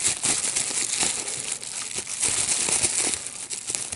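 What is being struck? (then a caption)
Plastic bubble wrap sheet. A clear plastic bubble wrap sheet with small air-filled bubbles is held in both hands while fingertips squeeze and pop the bubbles. Dense, bright crinkling runs throughout, punctuated by sharp, quick pops that fade almost immediately.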